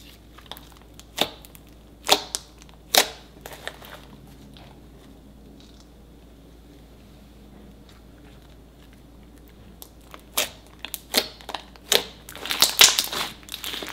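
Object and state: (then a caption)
Glue-based slime being squished. A large, shiny, solid lump of lavender metallic glue-based slime on a marble table is kneaded and pressed with fingers and palms and stretched upward. Air pockets pop as it is squished, making sharp, bright crackling clicks. A few pops come early, followed by a long quiet stretch, then a denser flurry of snaps near the end.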